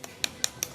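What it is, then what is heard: Live oyster, sounds full. Four quick taps on an oyster shell during sorting, heard as sharp, bright clicks with almost no ring. The oyster sounds full rather than hollow, meaning it is alive and fine.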